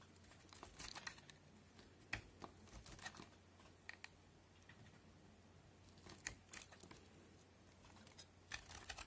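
A yellow-handled utility knife cuts and scrapes crunchy pieces from the corner of a solid, cream-colored rectangular white soap bar held in the hand. Quick, bright crackling snaps and dry scraping come in clusters over a faint, steady low hum. Each crunch stops sharply with almost no ring.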